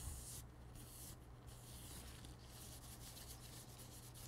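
Thin blue disposable nitrile gloves are worn on both hands while the gloved hands rub against each other and the fingers slide together. The result is a continuous soft, bright rubbing squeak with brief gaps in the high hiss over a steady low hum.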